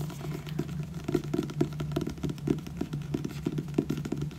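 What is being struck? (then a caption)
Paperback book cover. A solid, purple glossy paperback book is tapped and scratched rapidly with fingertips and nails on its front cover. The result is a quick run of soft, dull taps with light scratching over a low steady hum, with no clear gaps between the strikes.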